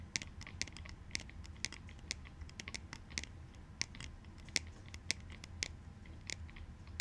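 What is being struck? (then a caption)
Plastic sunglasses frame. A light pair of plastic clout goggles, a sunglasses frame held in both hands, is tapped and scratched along the rim with fingertips and nails. It makes a steady stream of crisp, short, high clicks with soft scratching between them, over a quiet low rumble.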